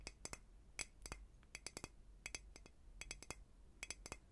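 A hollow glass flower cloche dome over flowers on a wooden base is held in hand and tapped on the glass with fingernails. Quick, bright glassy clicks come in small clusters of two to four taps, each dying away almost instantly with no lingering ring, over a faint low hum.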